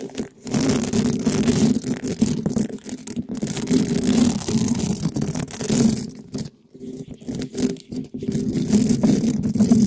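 A gloved hand rubs and scratches the large black hollow-dome metal mesh grille of a condenser microphone with a small red spiky rubber ball in fast strokes. The result is a dense, continuous scratching and rubbing noise with a strong low tonal hum around 230 Hz. The sound drops away briefly around the six-to-eight-second mark before picking up again.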